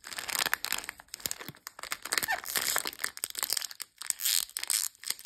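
A long, sealed blue plastic biscuit pack (Copa) full of sandwich cookies is held in hand and rubbed and crinkled along its length by fingertips with long nails. Dense, bright crackling and crinkling rises and falls in bursts, with many short sharp clicks and almost no low end.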